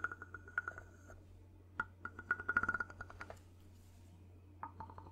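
A wooden double tone block with ridged hollow cylinders is tapped and scraped close up with a wooden ball-tipped mallet. Irregular, quick clicky knocks ring with a short, dry, hollow tone around 1.4 kHz, some bunched into fast runs, with brief scraping textures between them. A steady low hum sits underneath throughout.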